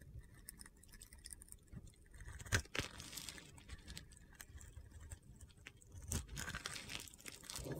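A metal box-cutter blade shaves and scrapes crunchy flakes off the surface of a solid rainbow-glitter soap bar with a teal interior, held in hand. A dense, gritty crunching and scraping runs throughout, with a couple of sharper, louder crunches standing out midway and near the end.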